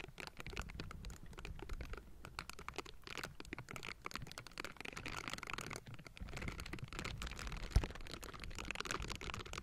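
Silicone bristle gloves scratch and brush the hollow metal mesh grille of a Blue Yeti microphone from both sides. The result is a dense, continuous stream of crackly scratching over a heavy low rumble, with one sharp, louder tap near the end.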